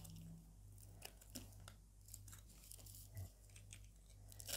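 A palm-sized orange oval bar of solid soap with a ridged surface is held in one hand while a metal blade, held by a hand with long orange nails, scrapes and cuts slices off it above piles of soap flakes. Crisp, bright crunching and scraping strokes break out over a steady low hum, with a louder crunch near the end.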